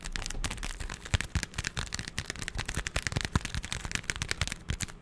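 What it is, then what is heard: Cardboard box. A small, hollow, printed cardboard product box is held close to the mic and tapped and scratched with fingertips and nails. Rapid, dry, hollow taps with low thuds alternate with crisp, papery scratching, and each sound stops quickly with no ring.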